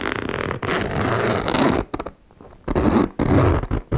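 Fingers with long nails pull the metal zipper slider back and forth along the metal teeth of a small turquoise embossed faux leather cosmetic pouch resting on a wooden table. Long, buzzy, rasping zip strokes carry a low-to-mid grainy texture, broken by a short quiet pause with faint clicks before more strokes resume.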